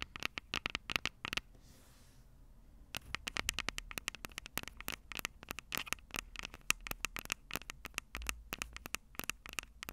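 Long purple acrylic nails rapidly tap and scratch the two small crossed metal mesh microphone capsules on the hollow plastic body of a Tascam DR-05 handheld recorder. The result is a dense run of sharp, bright clicks with very short decay and faint scratchy noise, broken by a brief pause of soft hiss near the start before the tapping resumes.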